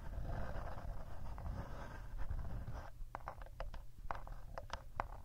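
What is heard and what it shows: Fingertips and short nails scratch and rub the rubberized casing of a hollow, handheld black plastic Tascam recorder with two mic capsules on top, held upright in both hands, making a dense, papery scraping with a low rumble underneath. About halfway through, the scratching stops and gives way to a run of short, dry, hollow taps on the plastic body.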